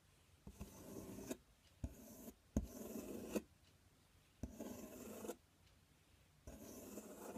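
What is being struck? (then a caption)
Corrugated cardboard box. Fingertips and nails scratch and tap the front panel of a large, empty, open corrugated cardboard box. Five separate bursts of dry, raspy scratching are heard, each opening with a sharp tap and separated by short quiet gaps.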